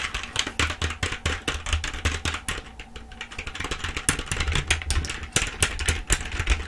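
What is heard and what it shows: Long acrylic nails type and tap fast on the keys of a black plastic full-size keyboard held upright, making a dense stream of sharp, bright clicks. A steady low hum sits underneath the clatter throughout.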